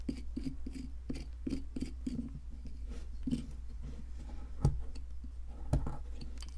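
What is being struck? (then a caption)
Plaster excavation block. A metal chisel with a wooden handle scrapes and chips at the top surface of a solid white plaster fossil excavation block. Soft, irregular scraping strokes repeat through the clip with a low, muffled body and faint high grit, broken by two sharper chipping knocks near the end.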